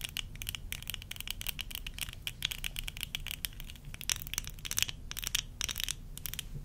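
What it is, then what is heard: Plastic eyeglasses frame. Long acrylic nails rapidly tap and scratch along the rims and temples of small, thin, solid tortoiseshell plastic (acetate-style) eyeglasses with clear lenses, worn on the face. The result is a quiet, continuous stream of crisp, bright clicks and scratchy rasps that stop instantly with no ringing, over a faint low rumble.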